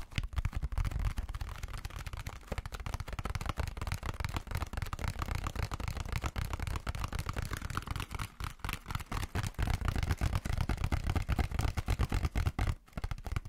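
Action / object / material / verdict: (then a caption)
tap / plastic sponge casing / plastic / none. A plastic sponge casing is tapped rapidly and continuously as an ASMR trigger. The result is a dense stream of short, dull clicks that die away quickly, with most of the energy in the low end and very little high-frequency sparkle.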